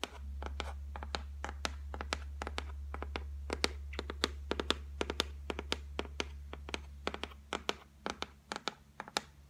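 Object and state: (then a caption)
Solid laminated shelf top. Long white nails tap and scratch quickly across a solid, flat white laminated shelf top, making a rapid run of sharp, dry clicks that die away almost instantly. A steady low hum sits underneath and drops away in the final seconds, leaving the last few taps more isolated.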